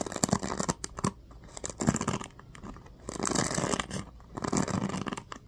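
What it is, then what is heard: Plastic paddle hairbrush. A small black plastic oval paddle hairbrush with a cushioned bristle pad and teal-tipped pins is held in one hand while fingertips strum and scratch across the bristles. The sound comes as four bursts of dry, crackly, rapid ticking and scratching with quiet pauses between them, and each burst carries a bright, rustling edge.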